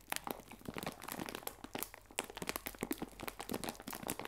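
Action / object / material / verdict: scrape / plastic bag of biscuits / plastic / none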